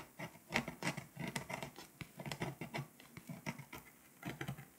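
A pink scraper tool held in fingers scratches the foil layer off a flat foil-coated paper scratch-off world map lying on a surface, working over Lithuania and leaving flakes. It makes a run of quick, dry, bright scratching strokes with a soft low rasp beneath, coming in short bursts with brief pauses between.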